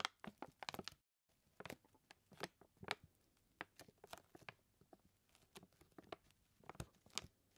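Fingertips and nails tap and scratch the paper sides of a full white paper flour bag. Quiet, dry, crinkly taps and scrapes come in about 18 short, bright bursts, with a brief silent gap near the one-second mark. Each sound stops almost instantly with no ring.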